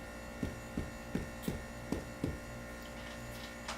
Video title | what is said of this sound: FLAVorgasm S02 EP09 - Corned Beef Brisket and Cabbage with Soda Bread | You want to hear that kind of hollow sound to it.